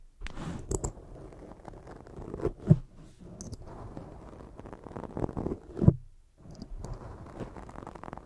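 A black foam microphone windscreen, gripped in both hands, is scratched and rubbed by long jeweled fake nails. The result is a dense, muffled, low scratching and rustling with almost nothing bright, swelling into two louder scrapes around 2.7 and 5.9 seconds. A brief silence follows near 6.3 seconds before the rubbing resumes.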